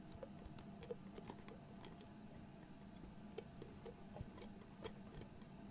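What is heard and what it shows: Fingertips twist and tap the dark metal screw lid of a medium glass jar with pale contents, held close to the mic. Quiet, short, dry ticking clicks sound irregularly over a low rumbling bed, with a few sharper taps standing out.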